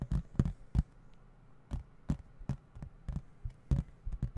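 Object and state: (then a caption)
Plastic video game case. A hollow plastic video game case with printed artwork, held in both hands, is tapped with fingertips and then moved about near the microphone. About fifteen short, dull, low thumps sound in an uneven rhythm, each dying away at once with no ring. Between the taps there is only a faint low hum.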